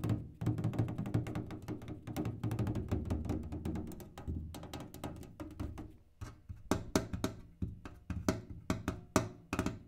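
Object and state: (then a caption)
Kerosene can tapped. A kerosene can is tapped, first in a rapid, dense run of dull, low thunks and then in slower, sharper taps that stand apart. Each hit has a short, hollow tone with very little ring.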